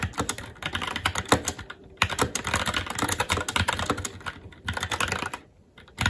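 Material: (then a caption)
Plastic, metal. Both hands' fingertips type continuously on a SteelSeries Apex 7 TKL mechanical keyboard with Red switches, black plastic keycaps on a metal plate, and a hollow RGB-backlit case resting on a desk. Rapid, overlapping bright clacks with low thocky bottoming-out come in steady bursts, with short lulls around the two-second mark and near the end before typing resumes.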